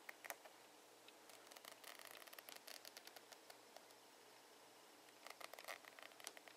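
Close up, fingernails scratch along the ridges of a ribbed rubber grip on a plastic hairbrush handle. Quiet, bright, crackly ticks come in clusters: a short burst at the start, a dense run through the middle, then a pause before a final flurry. Each tick is short, with almost no low end.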